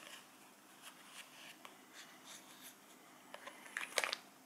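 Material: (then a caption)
Plastic. A small round clear plastic tray with cheese inside is held in the hands and tapped and scratched with fingertips and nails. Soft, faint, bright scratches and light taps fill the first three seconds. About five sharper, crisp plastic clicks follow near the end, with no low-end body.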